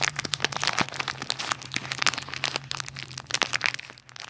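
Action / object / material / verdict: scrape / plastic packaging bag / plastic / none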